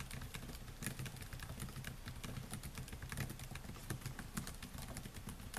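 Fingertips type steadily on the black plastic keys of a solid silver laptop, producing a quick, continuous patter of light, bright clicks. The clicks ride over a steady low hum.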